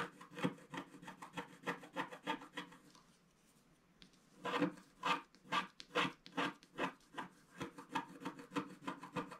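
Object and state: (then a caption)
Wax-coated scratch art card being scratched. A wooden stick scratches the coating of a flat black wax-coated scratch art paper card near its bottom center. Rapid, uneven rasping strokes, about two per second, make a dry, bright scraping. They stop briefly around the middle, then resume at a slightly stronger level.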